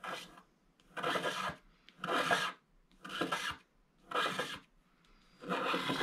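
A wooden stylus held at a low angle scrapes the black wax coating off a flat scratch-art card of gold foil paper held in one hand, moving in back-and-forth strokes. Six dry, raspy scraping bursts come at an uneven pace with short quiet gaps between them, each a broad hiss centered in the midrange with a bright edge.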